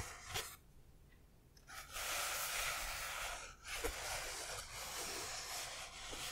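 Fingertips and nails from both hands tap and scratch the side of an assembled Knight Bus model, a hollow foam-board 3D puzzle of printed, foam-backed pieces about 25 cm long. A sharp tap is followed by a quiet pause, then a steady, bright, hissy scratching. A few more light taps break through the scratching.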